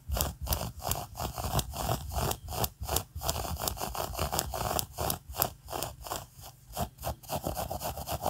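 Long acrylic nails scratch and rub a large mint-green skein of soft, solidly wound yarn held in the hands. The result is a steady run of dry, fuzzy scraping strokes, about two to three per second, each a brief bright scratch over a soft, low, muffled rumble.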